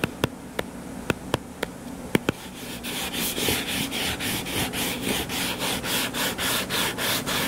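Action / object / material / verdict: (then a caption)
tap / paperback book cover / paper / none. Fingertips tap seven times on the cover of a purple paperback book lying flat and solid, each a short, crisp click with bright edges. Then the fingertips scratch the cover in steady, rhythmic strokes, a continuous rasping swish with a bright hiss that pulses with each stroke.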